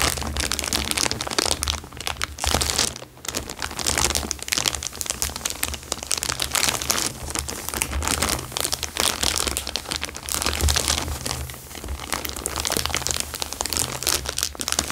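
A thin, clear plastic bag lying flat on a fabric surface is pressed and crinkled with the fingertips for about fifteen seconds. It makes a dense, bright, continuous crackle of crinkles, with a faint steady low hum underneath. There are brief lulls near the 3-second and 11-second marks.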